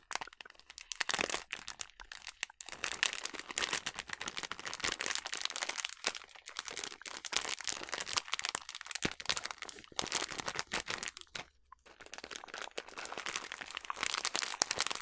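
A rolled-up yellow plastic almond bag is crinkled and squeezed by hands and nails. The result is dense, bright crackling and crunching that comes in rapid bursts, with brief near-silent pauses along the way. There is almost no low end.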